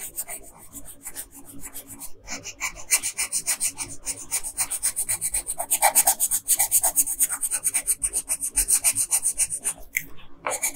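A pink colored pencil rubs back and forth along the bottom hem of a dress on a flat paper coloring page resting on a table. The tip scratches the paper in rapid, uneven strokes, giving a dry, bright, hissing rasp that grows louder and denser in the middle before easing off.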